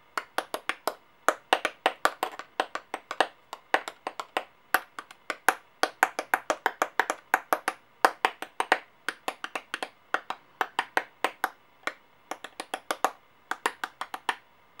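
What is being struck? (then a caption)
Metal coins. Solid metal coins, held edge-on in both hands with long painted nails, are tapped and clicked against each other and against brass-colored coins lying on a clipboard. Around seventy quick, sharp metallic clicks come in irregular bursts with brief pauses, each with a bright tick and a very short ring centered near 750 Hz. There is no low rumble beneath them.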